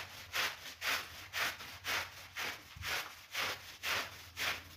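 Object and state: Synthetic pile rug being brushed.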